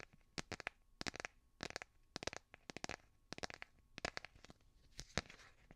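A hand-sized smartphone in a light blue plastic or silicone case is held upright and tapped and scratched with fingernails. Quick bursts of sharp, dry clicks come in clusters, with bright, crisp scratching between them. Each click stops almost instantly, with no ring.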